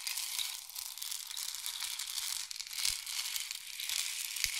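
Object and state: Wooden rain stick.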